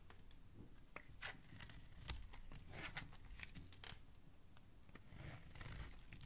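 A segmented metal utility blade scrapes and carves strips off the surface of a solid oval pink soap bar, with pink shavings piling up below. Soft, repeated scraping strokes give bright, crisp shaving and crinkling sounds over a low, dull base.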